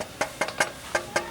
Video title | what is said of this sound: Review + Pasang Knalpot Motor untuk Honda GL Pro | yang ini banyak lebih Solid jadi dengar kalau diketuk